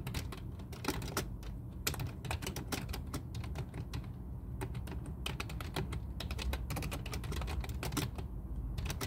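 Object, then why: Plastic computer keyboard. Both hands type continuously with their fingertips on a full-size black plastic computer keyboard resting on a desk. Rapid, overlapping key clicks form bright, sharp transients over a steady low hum, with no pauses in the typing.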